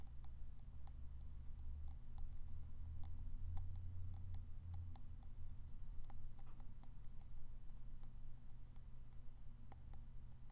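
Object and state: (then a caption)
Ceramic coffee mug tapped with fingernails. A hollow white ceramic coffee mug with a Cafe du Monde print is held in the hand and tapped and clicked with fingernails. Quick, dry, high clicks come at an irregular pace over a steady low hum, each dying away almost instantly.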